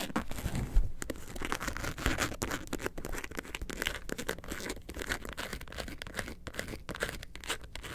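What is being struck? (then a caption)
Faux leather bag. A hollow, lemonade-carton-shaped faux leather bag turned on its side is scratched near the zipper by long nails. The result is a steady, dry, raspy scraping texture of many quick short strokes with a low rumble underneath, with no speech.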